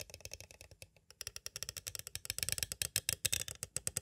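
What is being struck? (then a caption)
Clear plastic cassette tape case. A small, hollow clear plastic cassette tape case is tapped quickly on its edges with two green plastic stick tools. About 31 sharp, dry, bright clicks come in rapid runs, with a brief pause near the one-second mark before the tapping grows louder and denser. Each tap dies away almost instantly with no ring.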